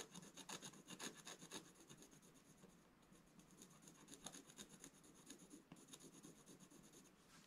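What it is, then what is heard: Scratch-art paper being scratched. A wooden scratch stylus makes fast, repeated strokes across the black coating of a solid scratch-art page in a book lying flat on a table. The quiet, dry, raspy scratching is bright and papery, with short strokes coming roughly twice a second in an uneven rhythm.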